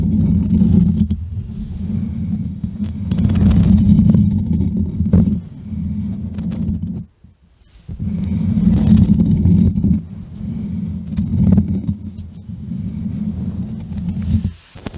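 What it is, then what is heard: Foam microphone windscreen being scratched. Fingertips and long nails of both hands grip, scratch and rub the black foam windscreen on a standing USB microphone. This makes a dense, close, low rumbling scratch with fuzzy friction texture. It stops briefly at about seven seconds, then resumes just as thick until the end.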